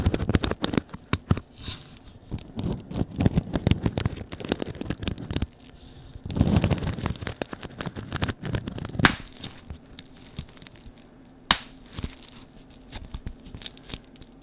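A flat sheet of clear plastic air-cushion packaging with a grid of cells is held close to the microphone while fingers crinkle and press it. Dense crinkling and scratchy rustling run in bursts throughout, with a few sharper, brighter snaps standing out near the end. Short pauses of near-quiet separate the bursts.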